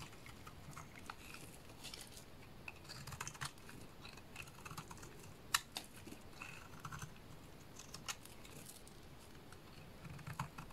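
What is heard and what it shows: A solid lilac bar soap held in the hands is shaved with a small blade into curls. Soft, dry scraping and crisp little ticks come in irregular bursts over a quiet, low hiss, with one sharper click standing out partway through. The cuts sound close and delicate, with bright, high edges and almost no ring.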